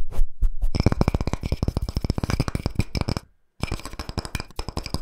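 Fingertips and nails tap and scratch the cut face and bark rim of a round, palm-sized solid wood log slice coaster held in one hand. A few spaced taps quickly build into fast, dense drumming of dull, low knocks with bright clicky edges. The tapping stops for a brief silence, then resumes just as quickly to the end.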